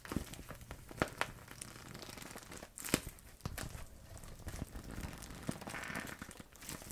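A clear vinyl zip pouch full of paint tubes is squeezed, crinkled and tilted in both hands with long red nails. Dense plastic crinkling and rustling is broken by sharp clicks and taps as the tubes shift against each other inside.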